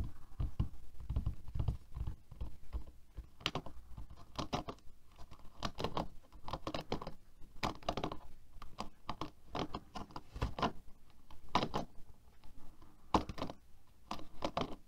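Fingertips and nails rapidly tap and scratch the plastic bristles of a black plastic paddle hairbrush with a rubber cushion, lying on a table. Many quick, dry, short patters and scrapes come in uneven bursts, mostly low and soft with brief bright ticks.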